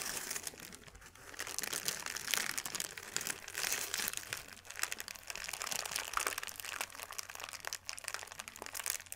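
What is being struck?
Thin paper sheet.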